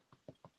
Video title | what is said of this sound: Inspired series - Bread Making | when you hear that hollow sound, it's very satisfying